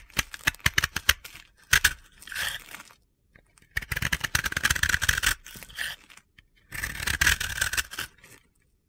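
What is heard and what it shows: A utility knife blade scrapes gritty flakes off a dry, powdery blue and yellow soap ball (bath bomb) with a cut flat face, held in the hands. Sharp dry clicks and taps open the clip, followed by three longer bursts of crunchy, bright scraping separated by short pauses.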